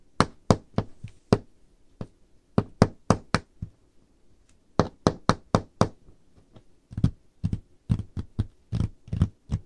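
Painted fingernails tap on the surface of a large, solid, dark-stained wooden table top, landing short dry knocks in quick clustered bursts separated by brief pauses. Each tap is a low, woody thunk with a faint bright click on top, dying away almost at once.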